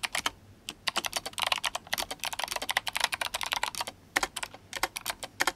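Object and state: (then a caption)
Mechanical keyboard with plastic keycaps. Fingertips of both hands type fast on an RGB-backlit GMMK Compact mechanical keyboard with clicky Kailh Box White switches and plastic SA keycaps. Sharp, bright clicks come in quick, uneven bursts with almost no ring and two brief pauses.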